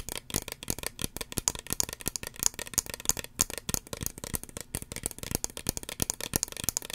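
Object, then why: Small plastic spray bottle. Fingernails tap and scratch the red body of a small, hollow red plastic spray bottle with a white pump cap. The result is a rapid run of dry, crisp clicks and scrapes that die away instantly and sit mostly in the bright upper range, with little low end.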